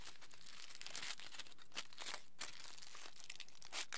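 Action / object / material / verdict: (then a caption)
scrape / small piece of aluminium foil / aluminium foil / none. A small crumpled piece of aluminium foil is squeezed, twisted and folded by the fingertips of both hands. It makes a steady, quiet, bright crinkling and crackling, with sharper louder crunches scattered throughout.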